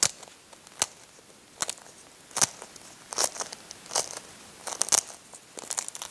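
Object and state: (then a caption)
Cracked hard-boiled eggshell. Thumbs press and rub a hard-boiled egg with a finely cracked brown shell, crunching the shell fragments against the egg. The result is a series of short, dry, bright crackles and crunches at an irregular pace, with quiet gaps between them and almost no low end.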